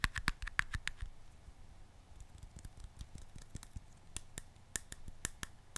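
Fingertips and nails tap and scratch the white plastic lid and sides of a small round glass jar held in the hands. A quick, irregular run of sharp, dry clicks with a faint bright tone near 1.7 kHz dies away almost instantly, with softer scratching and rustling between the taps.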